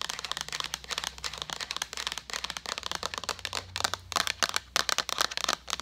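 Long nails tap and scratch a hollow white plastic jug with a handle in a rapid, uneven series of bright, dry clicks mixed with crinkly scratching. Each tap dies almost instantly, and the sound has almost no low end.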